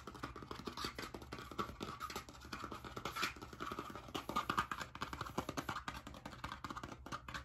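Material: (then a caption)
Cardboard. A blue spiral-bound hardcover notebook with a metal wire binding and cardboard cover is held upright while its cover is quickly scratched and tapped with nails and fingertips. The result is a fast, continuous stream of dry, short taps and scratchy rasps, with a faint steady tone near 1.2 kHz running underneath.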